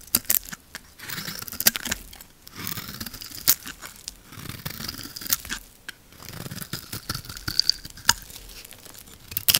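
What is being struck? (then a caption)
Bar of soap scraped by a metal blade. A metal blade scrapes thin layers off the pink face of a solid blue and pink lacquered soap bar held in the hand. The result is dry, crisp scraping and crunching with a tearing texture, bright and airy, punctuated by sharp snapping clicks between quieter pauses.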